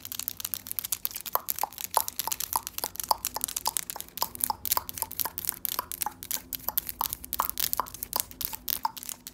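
Long, solid acrylic press-on nails decorated with glitter and patterned designs are tapped and clicked against each other from both hands, close up. The result is a fast, steady stream of sharp, dry clicks with a bright, crisp top and a brief hollow knock near 890 Hz, each dying away almost instantly over a faint low hum.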